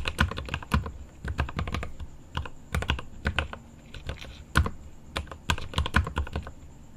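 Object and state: Mechanical keyboard being typed on.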